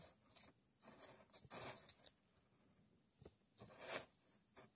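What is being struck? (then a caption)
Pile of coarse sand. A thin red stick pokes and digs into a tray of loose, coarse sand, making about seven bright, dry scratching and rasping bursts separated by quiet pauses. Coins sit still at the edge of the tray and are not touched.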